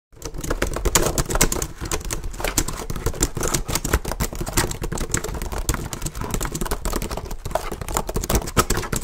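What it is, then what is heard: Plastic laptop keyboard. Fingertips type fast and hard on the plastic keys of a black plastic HP laptop held up close. A dense, continuous stream of sharp clicks and clacks runs for about nine seconds, with a thumpy low body and bright, quickly decaying key snaps.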